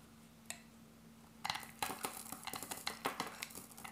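A hand-sized, solid dark grey dry bar soap, held in the hand, is cut into thin slices with a metal utility blade. After a single early scrape, about 14 crisp, bright slicing crackles follow in quick succession over a faint, steady low hum.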